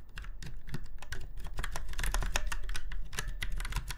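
Fingertips of both hands type on a retro typewriter-style mechanical keyboard with round white keycaps set in chrome-look rings on a silver frame. Rapid, sharp clacks follow one another closely, each bright tick dying away almost at once over a steady low hum. The typing keeps an even, continuous rhythm throughout.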